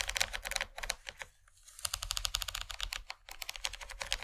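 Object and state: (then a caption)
Plastic tray tapped with nails. Long nails tap quickly on the textured surface of a large, empty yellow plastic tray, making rapid, bright, dry clicks with almost no ring. The tapping runs in dense bursts, drops to near silence for about half a second in the middle, then resumes over a faint low hum.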